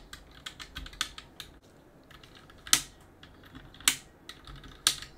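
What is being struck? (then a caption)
Plastic mechanical keyboard. A gloved hand rubs a cotton swab between the plastic keycaps of a backlit plastic-and-aluminum mechanical keyboard. Soft, bright scratching and light, irregular ticks of the keys fill the clip, with three louder, sharp clicks toward the end that stop almost instantly.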